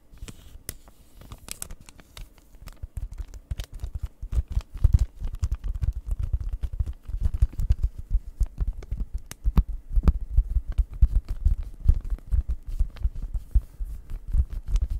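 Long red nails tap and scratch the front of a flat cross-stitch kit, cardboard sealed in plastic, held close to the microphone. A rapid, dense stream of dull, low-pitched taps mixes with crinkly scratching. It starts sparse and soft, then grows busier and louder after about two seconds.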